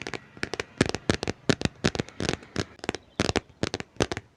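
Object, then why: Book with cardboard or paper cover. Fingers tap rapidly and densely on a book, making a quick run of short, dry taps with brief scratching sounds between them. Each tap is sharp with a dull low body and a bright edge, and it dies away almost at once.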